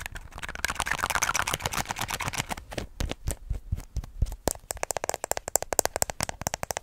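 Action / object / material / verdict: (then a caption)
tap / small plastic lotion bottle / plastic / none. A small, hollow white plastic lotion bottle with an orange cap and label is held in one hand and scratched and tapped with long fingernails. First comes a dense, rustling scratching, then a run of quick, sharp, dry taps with almost no ring that speed into a steady rapid tapping at the end.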